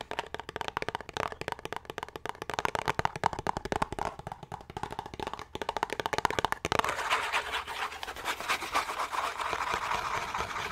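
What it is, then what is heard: Cardboard soap box. A small, closed, green Irish Spring cardboard soap box is tapped with fingernails on its flat sides in a rapid run of dry, crisp clicks for about the first seven seconds. It then switches to continuous, brighter fingernail scratching across the cardboard until the end.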